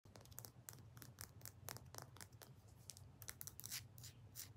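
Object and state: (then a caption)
Rock. A rock is tapped fast and aggressively with the fingers, giving a rapid run of sharp, bright clicking taps over a steady low hum.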